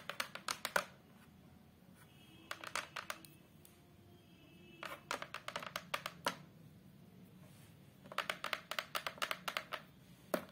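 Long acrylic nails tap rapidly on the flat brown fiberboard back panel of a large photo frame, in quick bursts separated by quiet pauses. Each tap is a short, dry, bright click that dies away almost instantly over a faint background hiss.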